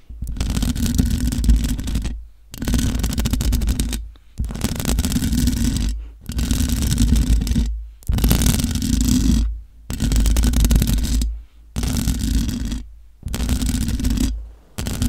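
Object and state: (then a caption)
Metal microphone grille scratched. Long nails scratch the hollow metal mesh grille of a large black microphone in repeated rough bursts about two seconds long, each separated by brief silences. The scraping is a heavy, close, low rumble with a dense, gritty, high rasp on top.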